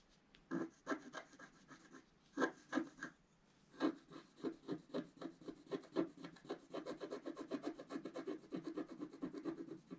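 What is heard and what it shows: A wooden stylus tip is dragged in continuous strokes across a flat, black-coated paper scratch-art card lying on a table. It makes quick, dry, rasping scratches with a mid-range tone and bright edges, in short bursts separated by brief pauses. The strokes become a steady, dense run in the second half.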